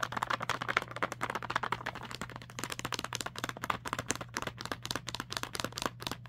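A small, full plastic bag of bird treats (dried fruit and nuts), clear and printed, lies on fabric and is tapped and scratched with long nails and fingertips on its front and back. Rapid, dense crinkly taps and scratchy rustles run throughout, bright and crisp with a steady low hum underneath.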